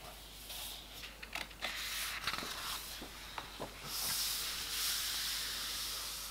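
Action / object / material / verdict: scrape / paper pages of a hardcover book / paper / none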